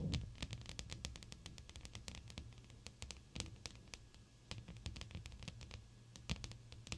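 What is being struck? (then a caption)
Glass pane. Long almond-shaped, blue-painted acrylic nails tap on a large, flat, clear glass sheet with the fingertips pressed against it. The result is a quick, irregular run of short, bright clicks that die away almost instantly, over a soft, steady low rumble and faint hiss.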